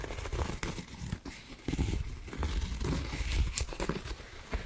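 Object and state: Cotton rope coaster, scratched and tapped.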